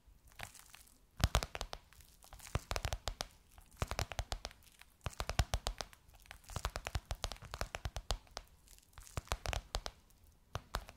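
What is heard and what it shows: Long nails tap and scratch across a gold crocodile-embossed faux leather pillowcase on a soft cushion, producing bursts of quick, crisp clicks and crinkly, papery scrapes. Short quiet gaps separate the bursts, and each tap is sharp and dies away almost instantly.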